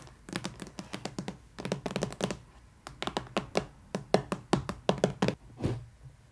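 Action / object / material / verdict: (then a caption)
tap / printed cardboard box / cardboard / none. Long nails and fingertips tap and knock on the lid of a long, rigid, glossy cardboard box printed with a colorful dot pattern, hollow with a doll inside, first as it rests on a table and then as it is lifted. Quick clusters of short, dry, hollow clicks and thunks with a mid-range body and almost no ring are heard, ending in a softer, broader rub.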